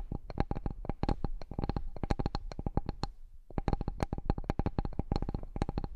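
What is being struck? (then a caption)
Bamboo cutting board. Fingertips and nails tap and scratch the surface of a large, flat, solid bamboo cutting board. Quick, dry taps come in dense bursts with a deep, low thud and brief bright clicks, breaking off for a short pause just past the halfway point before resuming. Each tap dies away almost instantly.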